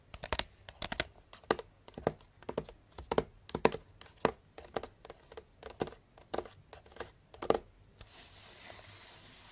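Long blue nails tap quickly on the top and sides of a small cardboard box wrapped in pink star paper with a purple ribbon. The taps are dry, crisp and papery with a slight crinkle, bunched in quick flurries. They stop near the end, leaving a soft steady hiss.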